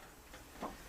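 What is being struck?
Nothing is struck.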